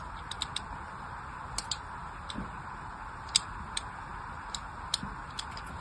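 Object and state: Bar soap being scored with a blade.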